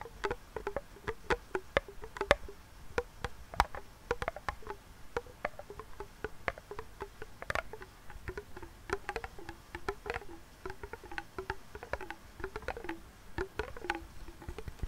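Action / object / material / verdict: tap / metal tin lid with clear plastic window / metal, plastic / none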